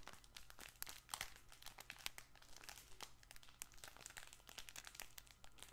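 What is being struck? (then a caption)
Fabric plush baby ball toy. A fabric plush baby ball toy with a yellow handle is held up and squeezed and scratched with the fingers of both hands. It gives off dense, irregular crinkling and crackling with sharp, bright little snaps over a steady low hum.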